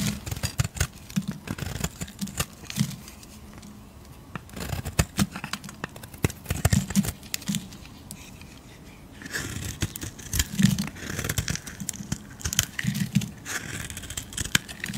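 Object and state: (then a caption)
Soap bar being shaved with a blade. A metal blade scrapes and shaves the surface of a solid oval blue soap bar held in the palm. Bursts of crisp, dry scraping strokes with a low body and bright edges are broken by brief quieter pauses.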